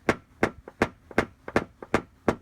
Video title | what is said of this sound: CRASH Collision⚡️PDR gets this dent out Amazing! 😎 | you can still hear that high pitch sound